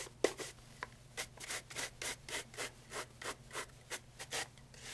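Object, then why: Leather loafer brushed with a horsehair brush. A brown pigskin leather loafer with a wooden shoe tree, held in hand, has its upper and leather sole brushed with a wooden-backed horsehair brush. About fourteen quick, bright rubbing strokes come in a steady rhythm, each a soft hissing swish separated by brief pauses. A sharp click sounds near the start.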